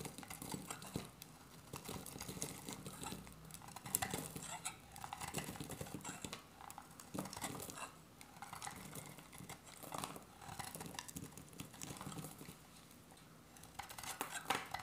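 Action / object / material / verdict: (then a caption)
scrape / bar of soap cut with a metal blade / soap / none. An oval, solid, dry beige soap bar held in the hand is shaved with a metal utility-knife blade, making repeated crisp, dry scraping cuts. Bursts of bright, gritty rasping come in steady runs with short pauses as curls of soap fall onto a pile of shavings.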